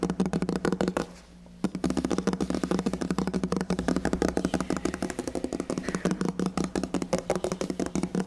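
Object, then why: Painted wooden cabinet drawer fronts. Fingernails and fingertips rapidly tap and scratch the red, glossy painted drawer fronts of a large minibar cabinet, likely MDF, in a hotel room, with the microphone held close. The panels sound solid, with hollow drawers behind them. Dense, dry clicks and scrapes run nearly continuously over a steady low hum, pausing briefly around the one-second mark.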